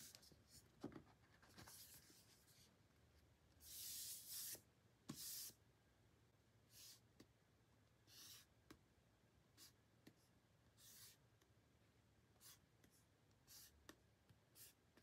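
A short painted fingernail traces and scratches across the back of a pink cardboard album box with a printed tracklist, held in the hand. Soft, bright, dry scratching strokes come in short bursts, with a few longer, louder rasping scrapes near the middle, over a quiet background.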